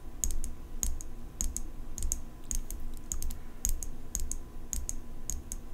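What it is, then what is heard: Steel folding knife tapped with fingernails. Long nails tap the steel blade of an open folding pocket knife with an engraved metal handle, held horizontally. The taps come as quick, irregular clusters of sharp, bright metallic ticks with a faint high ring, over a steady low hum.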